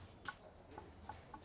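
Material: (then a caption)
Ceramic. Several light, short taps on a previously repaired ceramic piece with old glued joins, a missing section and old yellow adhesive, give a faint, hollow tick with a brief ring. The hollow sound indicates the joins are fragile and not sound.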